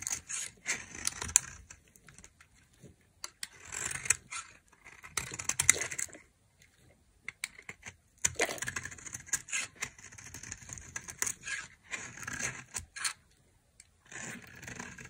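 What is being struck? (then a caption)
Soap bar scraped with a metal knife. A metal knife scrapes and cuts curled flakes from a hand-held, dry, solid beige soap bar with a green edge. Bursts of crisp, bright, crackly scraping come in short runs separated by brief silences, with almost no low end.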